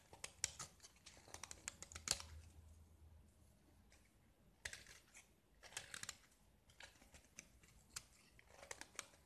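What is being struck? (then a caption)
Painted gypsum plaster block. A utility knife blade scrapes and flakes the chalky surface off a small square solid gypsum block, painted red, scored into a grid and held in the hand. The result is a quiet series of dry, bright, crisp scratches and short ticking clicks with almost no ring. A brief lull comes partway through before the scraping resumes.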